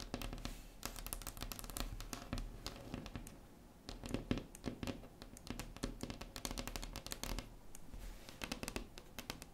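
Long acrylic nails on both hands tap and scratch a large, solid, flat wood-grain tabletop. The result is a steady stream of quick, dry clicks and short scratching strokes with a low body and bright tips. It dips briefly to softer scratching near the middle before the rapid tapping picks up again.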